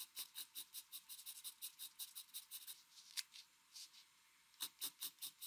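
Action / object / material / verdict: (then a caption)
scrape / pencil on paper sheet / paper / none. A mechanical pencil scratches quick shading and hatching strokes across a flat white drawing paper sheet. It makes a run of short, bright, dry scratches with a brief pause near the end before the strokes resume. The sound sits almost entirely in the high range and has no low body.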